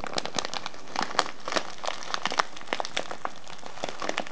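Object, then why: Kraft paper tea bag with plastic window. Fingertips and nails crinkle and press the clear plastic window and brown kraft paper of a small tea bag filled with loose herbal tea, standing on a table. Dense, crackly crinkling runs throughout, with many sharp, bright ticks and snaps over a steady papery rustle.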